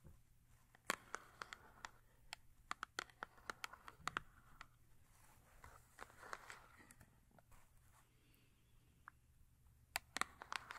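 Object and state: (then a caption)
Cardboard soap box. Long acrylic nails tap and scratch the front face of a small paperboard soap box standing upright on fur. Many short, dry, papery taps with bright clicky edges are scattered through the clip, mixed with softer scratching rustles between them. Everything stays quiet over a faint low hum.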